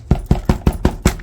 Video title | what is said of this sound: My HAWK Tearing Into Her Prey! Feathers Everywhere! | it's solid if I tap it